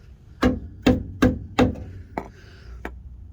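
A hammer strikes a rusted-through section of a Jeep's steel frame rail six times, in contrast with a solid section of the rail. The first four blows are dull, low thuds that die out quickly, like pounding sand, and the last two are lighter, sharper taps. The dull sound means the rusted metal is mush and has to be cut out.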